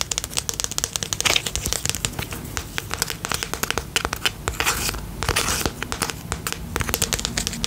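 Fingertips and nails tap quickly on the side and label of a small round pink and purple plastic tub with a lid, filled with slime. Dozens of sharp, bright clicking taps come in rapid bursts with a crinkly, crackling texture. Each tap stops at once with no ringing.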